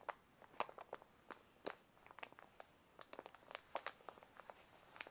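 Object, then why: Paper envelope. A white paper envelope is held in both hands while fingers crinkle, squeeze and rub the paper. The result is a quiet, irregular stream of short, sharp, bright crackles and rustles with almost no low end, each snap dying away almost instantly.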